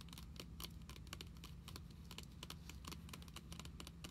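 Long pink nails quickly tap and scratch the glossy plastic-coated cover of a closed Pokémon card binder lying flat on a table. The result is a rapid stream of short, bright clicks and scrapes that die away almost instantly, over a steady low hum.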